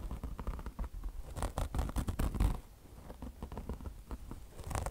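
Long blue fingernails on both hands scratch fast across a beige, peanut-shaped car wash sponge with mesh chenille fabric over foam. The result is a dense, rough scratching rustle with a heavy low thump underneath. The scratching swells into louder bursts midway, drops quieter, then builds again at the end.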